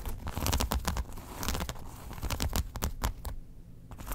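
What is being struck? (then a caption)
Faux leather wallet. Long acrylic nails scratch and tap a long, flat brown faux leather wallet that lies open with its card slots showing on a fur rug. The sound is a run of dry, crinkly scratches and quick taps with bright crackle over a soft, low thump. The strokes come in uneven bursts, dip quiet near the end, then pick up again.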